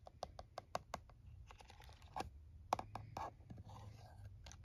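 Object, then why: Plastic calculator. Fingernails tap and scratch the keys and casing of a plastic calculator resting on a towel. Quiet, bright, sharp clicks come in an irregular stream, mixed with soft, scratchy rustling passages over a faint low rumble.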